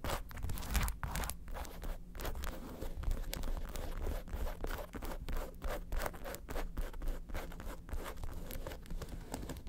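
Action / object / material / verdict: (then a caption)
scrape / faux leather handbag with metal studs / faux leather / none. Long acrylic nails rapidly tap and scratch the top of a hollow, red, lobster-shaped faux leather handbag with small metal studs. The result is a fast, continuous stream of dry, scraping scratches and short taps with little ring, over a steady low rumble.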